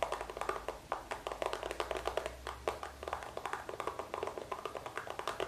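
A small green hollow, squeezable plastic cosmetic tube is held close in both hands and tapped and scratched with fingertips and nails. Quick, dry taps and scrapes come in fast, uneven bursts, with a hollow midrange tone around 680 Hz, bright clicky edges and almost no ring. A faint low hum sits underneath.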